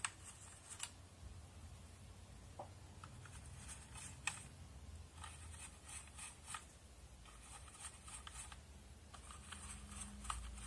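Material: Plastic.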